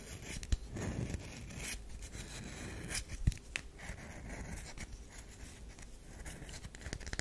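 Long pink nails scratch lines into a solid, oval, olive-brown DURU bar of soap held in both hands, raising soap powder. The result is a steady, dry, close-up rasping scrape with a low rumble underneath, broken by a few sharper clicks and brighter scratchy bursts.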